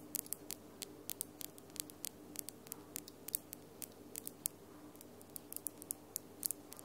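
Long glitter acrylic nails are tapped and clicked against each other, producing dozens of sharp, bright clicks in an uneven rhythm. The clicks are very short and dry, sitting over a quiet, steady low hum.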